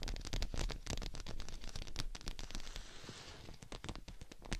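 Long nails tap and scratch the outside of a thin, hollow, clear PVC dome umbrella held over a mannequin head, with hands moving around the dome. Rapid, irregular, dull hollow taps mix with short scratchy, crackling scrapes across the plastic canopy, and a brief brighter rustling swell midway.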